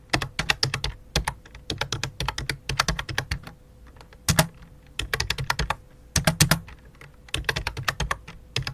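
Both hands type rapidly with fingertips on a full-size white and light-blue plastic computer keyboard with a hollow plastic body. Bursts of quick, bright key clicks carry a low, hollow thud underneath. Short pauses separate the bursts.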